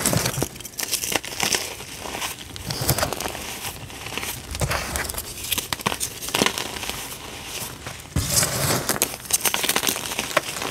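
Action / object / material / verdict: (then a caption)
scrape / dyed gym chalk powder / chalk / none. Fingers squeeze small clumps in pink dyed gym chalk powder and press the surface flat. The result is a dense, bright crunching and crinkling made of many quick, dry crackles, with a louder burst of crushing near the end.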